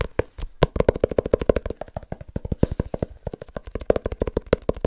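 A small leather-bound book is tapped rapidly with the fingertips, giving about 40 short, dry taps in an uneven run. Each tap is a dull, muffled knock centered near 470 Hz with almost no ring and little high-end brightness.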